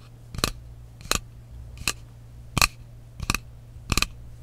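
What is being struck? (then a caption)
Frosted glass mist bottle with metal cap. Fingernails tap and scratch the side of a frosted glass mist bottle with a metal cap, making six short, bright clicks with a faint scratchy edge, spaced irregularly over a steady low hum.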